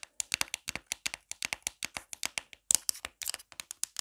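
Long black nails tap quickly on the back of a marble-print plastic phone case fitted with a pop grip. About 27 sharp, bright clicks come in a rapid, uneven stream with almost no low end, each stopping dead with no ring.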